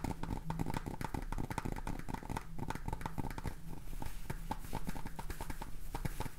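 Fingernails tap quickly on the red plastic cap and clear plastic body of a jar full of salt. The result is a dense, continuous run of short, dry clicks over a steady low hum, with most of the energy in the low end.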